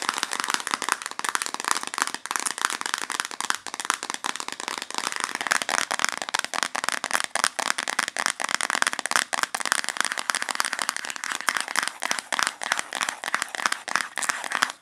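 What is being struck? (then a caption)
Small plastic bottle. Long nails tap and scratch the body of a small, hollow white plastic valerian supplement bottle with a green cap, held in both hands. The result is a dense stream of quick, dry clicks and bright scratchy rasps with almost no low end, over a faint steady tone that drops lower about a third of the way through.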